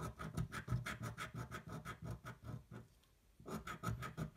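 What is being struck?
Paper scratch-off ticket scraped with a coin.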